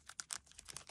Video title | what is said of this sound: 준등기깡 - 갈망포카들을 난 가져야겠어 - 예쁜 것만 모읍니다.. - 라이트 브이로그 - 하이라이트 덕질 브이로그 - LIGHT#32 | 이게 슬리브가 얇은 슬리브거든요? 바삭 소리 들리세요? 비닐같이